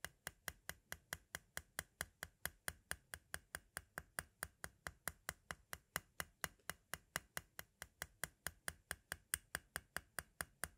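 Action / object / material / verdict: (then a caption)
tap / hard plastic audio cassette shell / plastic / none. A pointed green tool taps quickly and steadily on the window area of a small, hollow white hard-plastic audio cassette shell. About 49 sharp, dry clicks sound with bright, high tops, a faint low body and almost no ring.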